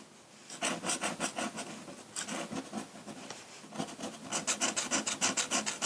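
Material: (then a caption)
Paper. A metal dip-pen nib scratches across a large, flat sheet of white drawing paper in dense hatching strokes. The sound is a rapid, bright, dry rasping, with about seventeen quick strokes in bursts separated by brief pauses, and little low end.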